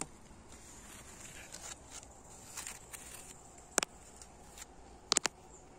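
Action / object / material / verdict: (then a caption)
tap / brick wall / brick / none. Fingertips and nails tap and scratch an old red brick wall with chipped white mortar in an abandoned house; the wall sounds solid. Quiet, bright scratching and rubbing gives way to a few sharp, dry taps with almost no ring, one near the middle and a quick cluster near the end.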